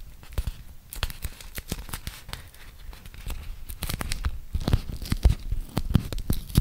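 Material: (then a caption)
Waxed cotton. A thin, flexible printed beeswax-coated cotton food wrap, folded into a small packet, is peeled open by fingertips and nails. Sticky tearing peels and crisp crinkles of the waxed fabric come as brief, irregular crackles over a soft low rustle. The sound grows louder and busier toward the end.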